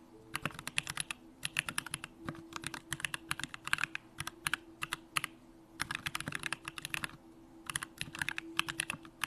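A Bakeneko65 65% mechanical keyboard with Durock lavender switches, pink plastic keycaps and a hollow aluminum case is typed on with the fingertips in continuous key presses. Bursts of rapid, bright clacking keystrokes are separated by brief pauses, each tap short and dry with almost no ring.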